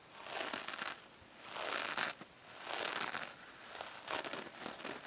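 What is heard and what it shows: Long nails scratch and fingers squeeze a small, hand-held silver metallic mesh scrub sponge over foam. Bright, dense crinkling and scratching rises and falls in several broad swells, with no low end and very short decay.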